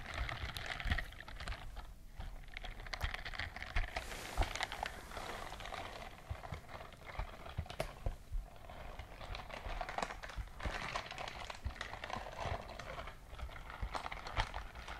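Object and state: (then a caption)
Silicone scrubbing glove. A white silicone dishwashing glove with dense bristles, worn on one hand, is moved up close so its bristles flex and rub. The result is a steady, soft, crackling scrubbing texture with many quick clicky ticks, a low rumble underneath, and a bright hiss throughout.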